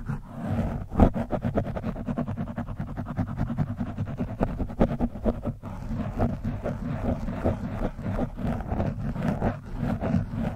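A screwdriver tip scratches the top of an orange foam windscreen on a microphone. It makes a dense, continuous run of rough, rapid scraping strokes with a heavy low rumble and little high-end content. The texture stays steady throughout.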